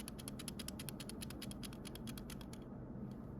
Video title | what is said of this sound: 전구문제 예방방법과 해결방법. 시험장에서 꼭 감독관에게 요청하세요. | 깔딱 깔딱 깔딱 깔딱 암 소리 들리시나요